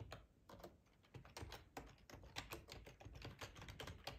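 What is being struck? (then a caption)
Plastic ergonomic computer keyboard. Fingertips type on the keys of a black plastic, hollow-bodied split ergonomic computer keyboard. A quick, uneven run of short, dry clicks and taps comes through with a hollow low thump under a brighter clack. Each keystroke dies away almost at once.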